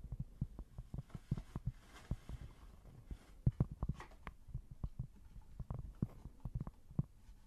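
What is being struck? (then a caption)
Thin cork board. Long nails tap and scratch a small, thin, solid square cork board, producing a steady string of soft, dull, low thuds. Each tap is short with almost no ring, and faint scratching fills the gaps between them. The overall sound is quiet and muffled, with nothing bright on top.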